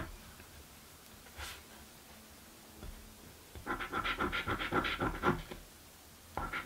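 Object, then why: Paper scratch card scraped with a coin. A coin scratches the latex coating off a thin blue paper scratch lottery ticket. After a quiet stretch with a couple of faint rustles, a quick run of rough, rasping strokes comes in bursts, with a bright, papery edge. A final short scrape follows after a brief pause.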